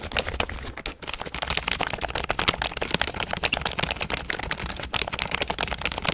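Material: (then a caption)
Plastic. A full-size grey and black plastic computer keyboard is held upright in one hand near a fluffy microphone while fingertips press and tap its plastic keys. A rapid, continuous stream of short, bright, clicky taps with a hollow plastic tone fills the whole clip, each tap dying away almost instantly over a faint low hum.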